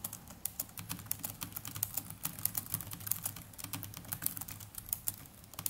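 Fingertips of both hands type continuously on the plastic chiclet keys of a small black netbook keyboard. The result is a rapid, quiet stream of short, bright key clicks over a steady low hum.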